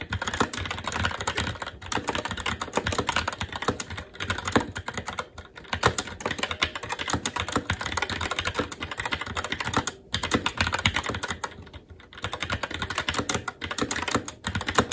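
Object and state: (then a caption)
Mechanical keyboard with plastic keycaps on a metal plate. Fingertips of both hands type continuously on a SteelSeries Apex 7 TKL mechanical keyboard with Red switches, black plastic keycaps on a metal plate, and a hollow RGB-backlit case resting on a desk. A steady stream of short, crisp clacks and muted thocks runs throughout, with brief lulls around the tenth and twelfth seconds.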